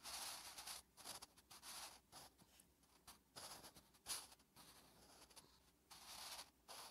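A wooden graphite pencil held in the fingertips writes Korean letters on a thin lined notebook page resting on a flat surface. The graphite scratches across the paper in bright, hissy strokes, with short bursts separated by brief pauses as each letter is formed.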